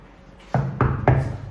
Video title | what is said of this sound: SURVIVING GRIMSBY (squatting in my new home) | That sounds hollow, so I'm pretty sure I can knock through that one.